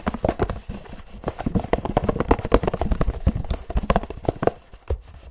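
Fingertips of both hands drum very fast on a hollow Pilkul paperboard drink carton. The result is a rapid stream of dull, low, hollow taps with almost no ring, forming a galloping, clip-clop-like rhythm that thins out near the end.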